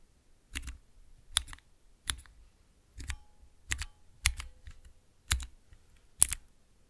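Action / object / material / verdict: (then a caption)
tap / clear plastic keycaps on mechanical switches / plastic / none. Long nails and fingertips press and tap three tall translucent plastic keycaps on Cherry MX mechanical switches over a clear base. Eight separate sharp, bright clacks ring out, some with a quick second click, each with a low thock and a very short decay. Quiet pauses fall between the clacks.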